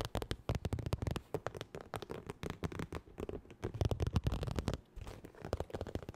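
Long nails rapidly tap and scratch a medium, soft-sided holographic textured vinyl zip makeup bag. The result is a fast, irregular stream of dry, muffled taps with a low, thumping body, mixed with crinkly scratching. Each tap dies away almost instantly.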